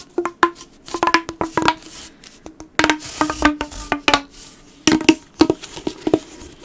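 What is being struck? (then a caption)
Corrugated plastic pop tube. A blue corrugated plastic pop tube, bent into a loop, is squeezed and rubbed by fingertips along its ribbed plastic. Bursts of short, dry clicks and pops with a hollow tone around 320 Hz mix with bright crackling rubs. Each click dies away almost instantly.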